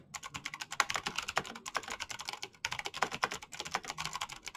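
Fingertips type quickly on a black plastic mechanical keyboard with clicky switches. It makes a fast, steady stream of sharp, bright clicks with very little low end, and each click dies away almost at once. A brief pause comes just past halfway before the rapid typing picks up again.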